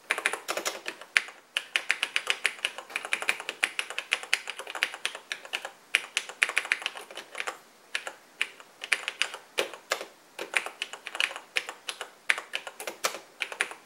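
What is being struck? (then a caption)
Plastic portable computer keyboard. Steady two-handed fingertip typing on the black plastic keys of a vintage cream plastic Radio Shack portable computer. It produces a rapid run of bright, dry plastic clicks with almost no low end and no ring, broken by brief pauses.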